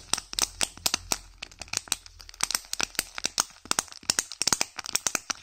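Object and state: Foil wrapper crinkling on a candy egg.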